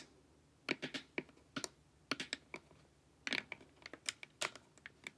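Long nails tap the sides of a glossy, hollow plastic LED face mask, producing quick, bright, dry clicks in irregular bursts. About twenty taps come through with very short decay and almost no low end, sounding like keyboard typing.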